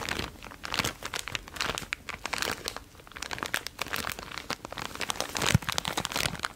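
A small clear plastic zip-lock bag with dark contents is held in the hand and squeezed and crinkled by fingertips close to the mic. Dense, bright crinkling and crackling comes in uneven bursts, each rustle dying away almost instantly, with a sharper crunch near the end.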